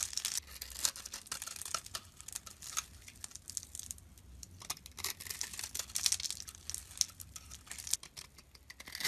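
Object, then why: Soap bar cut with a blade. A utility blade scrapes and carves a rectangular, solid brown soap bar about the size of a hand, held in the palm, working first through a pre-cut grid of small cubes. Dense, bright, crisp scraping and crumbly crackling come in quick bursts with short pauses, and the sound is almost entirely high-pitched with very little low end.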